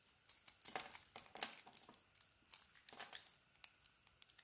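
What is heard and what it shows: A utility knife blade carves and scrapes the mint green coating off a solid orange bar of soap held in the hand. Quiet, dry, crinkly scraping bursts come in quick irregular strokes, bright and hissy with almost no low end, each cutting off sharply.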